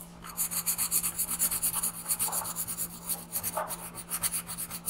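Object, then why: Graphite pencil on paper. A graphite pencil held in the fingers shades the alien's head on a printed paper coloring page lying flat on a wooden desk, while the other hand holds the sheet. About sixteen short, quick strokes make a bright, dry scratching and rubbing rhythm, with a faint steady low hum underneath.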